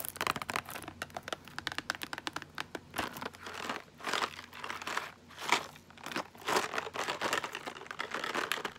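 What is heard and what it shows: Long nails tap and scratch along the edges and face of a small M&M's caramel cardboard candy box. Quick, dry, papery taps come in rapid bursts, mixed with longer crinkly scratching strokes across the cardboard.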